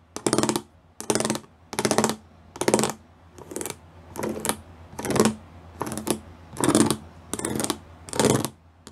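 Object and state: Plastic studded panel, fingertip and nail tapping.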